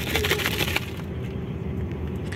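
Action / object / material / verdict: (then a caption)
shake / sealed plastic snack packet with dry contents / plastic wrapper / biscuits. A sealed plastic-wrapped snack packet from a meal box is shaken on a bus, giving a burst of crisp rattling and crinkling for under a second over a steady low rumble. The packet sounds as if it holds peanuts, but it actually contains chocolate-flavoured biscuits.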